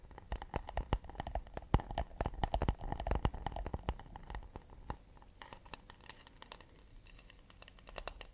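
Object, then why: Acacia wood plate. A round, solid acacia wooden plate, held with its underside facing out, is tapped quickly with fingernails near the rim and across the back. The result is a rapid, irregular patter of dry, clicky taps with a low, woody body and almost no ring. The taps are denser and louder through the first half, then grow sparser and softer.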